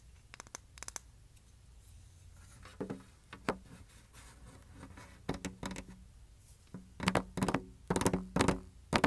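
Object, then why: Wooden hexagonal canister lid. A light, solid wooden hexagonal canister lid, round plug facing up, is held and then set on a table while long nails scratch and tap the plug and rim. Quiet scratching runs between irregular bursts of sharp, dry taps with a brief hollow ring. The taps cluster and grow louder toward the end.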